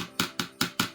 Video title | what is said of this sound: How to Assemble an Arrow -（📷： @pdj2975 ）#archery #archer #archerylife #compoundbow #recurvebow | tap the arrow on something like this to make sure it doesn't rattle